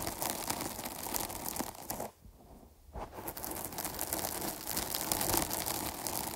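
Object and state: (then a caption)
Foam microphone windscreen scratched and squeezed. Long nails scratch and squeeze the sides of a dark foam microphone windscreen, producing dense, crinkly scratching and crackling with bright hiss. The sound briefly drops to near silence for about a second before the scratching resumes and continues steadily to the end.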